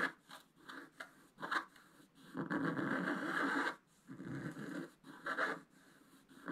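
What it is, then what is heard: Scratch-art paper being scratched. A wooden stylus scratches a flat scratch-art paper sheet, held by one hand, in small repeated strokes to reveal colour. Short, dry scraping bursts with a midrange rasp near 1.5 kHz come in irregular succession, with a longer continuous scrape in the middle.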